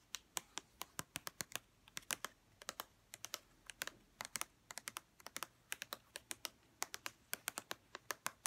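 Long red-painted nails tap a white plastic lotion bottle along its label and edges, making about 46 quick, dry clicks in an irregular, keyboard-like patter. Each tap is quiet, bright and dies almost instantly, centered around 1 kHz, with almost no low end.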